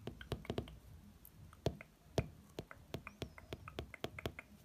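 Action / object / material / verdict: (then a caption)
tap / hardcover book with glossy cover / coated board / none. A fingertip traces across and taps the glossy front cover of a hardcover book. Soft brushing fills the gaps between irregular, light, sharp taps that die away almost at once, with a faint low thump under each tap. The taps are quiet and unevenly spaced throughout.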